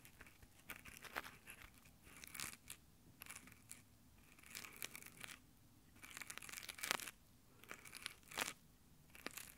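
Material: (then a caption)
Nylon. Fingertips in nylon exfoliating gloves rub slowly across the metal microphone grille of a handheld Tascam recorder. It makes soft, scratchy fabric friction in irregular bursts, bright and crinkly like tearing. Brief quiet gaps fall between the strokes over about ten seconds.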